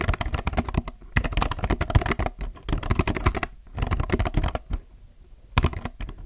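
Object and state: Plastic mechanical keyboard being typed on.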